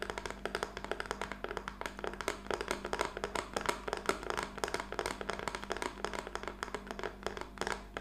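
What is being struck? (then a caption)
Painted wooden craft-stick plaque. A small, flat plaque of black-painted wooden craft sticks with a butterfly decoration lies on a table and is tapped rapidly with the long nails of both hands. The result is a steady stream of quick, dry, woody clicks with very short ring, centered in the midrange with a faint low hum underneath.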